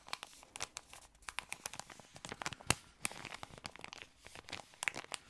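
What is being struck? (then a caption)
Thin plastic ice cream wrapper. An empty, thin, yellow patterned plastic ice cream wrapper is crinkled with the fingertips. The result is a quiet, steady stream of bright crackles and sharp, dry crinkling snaps, with no ringing after each one. A louder crack stands out near the middle of the clip.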